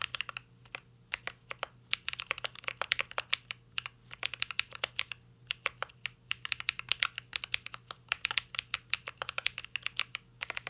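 Fingertips of both hands type continuously on a mint green Cyberboard R3 mechanical keyboard with a metal case and plastic keycaps. The clicks are sharp, bright and very short, arriving in quick irregular bursts with brief pauses, over a faint steady low hum.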